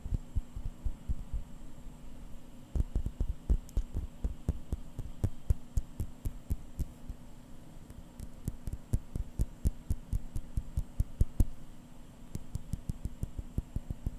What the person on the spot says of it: it's actually a really dense crystal sound